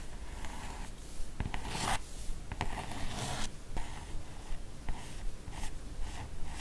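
Long orange nails trace and scratch around the character artwork on the matte cardboard cover of a large, solid hardcover comic album, *Les carnets de Cerise*, lying flat. Soft, dry scratching and rubbing strokes repeat at an uneven pace, with brighter, hissy bursts where the nails drag harder. The sound stays quiet and close, with no ringing after each stroke.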